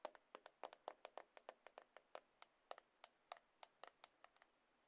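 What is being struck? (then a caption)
Glass and aluminium smartphone. A small, solid black iPhone made of glass and aluminium is held in one palm and tapped repeatedly with the long acrylic nails of the other hand. About 24 quick, quiet, clicky taps sound in an uneven rhythm, each with a bright tick over a hollow tone near 600 Hz that dies away almost instantly.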